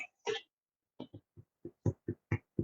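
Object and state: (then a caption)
Fully baked loaf of bread (sounds hollow). Eight low, hollow thuds as a freshly baked cinnamon raisin loaf is tapped, each knock dull and quickly damped. The empty-sounding thud shows the bread is done: it is 200 degrees inside and springs back when touched.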